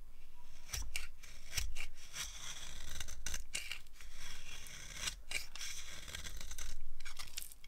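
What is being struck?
Bar of soap carved with a blade.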